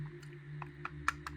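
Someone lightly taps an airsoft Glock 19 replica pistol with their teeth, producing several short, dull clicks over a steady low hum. The taps reveal the pistol, though it looks like metal, is plastic with only a small amount of non-magnetic metal and not zamak.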